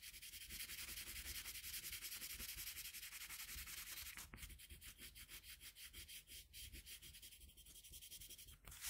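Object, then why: Colored pencil on a sheet of drawing paper. A red colored pencil held in a metal extender is rubbed back and forth across a flat sheet of drawing paper on a table to shade part of a drawing. The result is a bright, scratchy rubbing, dense and steady at first, then breaking into quicker, more separated strokes as the hand shifts slightly on the same paper.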